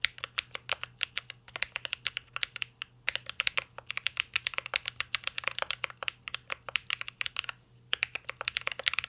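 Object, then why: Mechanical keyboard, plastic keycaps in aluminium case. Fingertips type continuously on a mint-green Cyberboard R3 mechanical keyboard with plastic keycaps and an aluminum case. Many short, crisp, bright clicks and clacks are heard, arriving in fast bursts with a few brief pauses. A faint low hum runs underneath.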